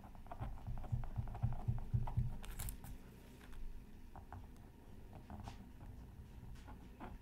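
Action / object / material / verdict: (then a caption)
scrape / black-coated scratch art card scratched with a bamboo stylus / coated paper / none. The tip of a bamboo stylus scratches fine lines into a flat black-coated scratch art card on a mat, with the other hand resting on tracing paper. Quick, fairly regular scratchy strokes, about four per second, sound dull and low with a brief bright hiss near the middle. The strokes are louder at first, then settle into softer, sparser scratching.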